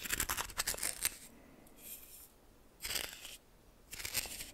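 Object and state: Coarse salt stirred in a small metal bowl.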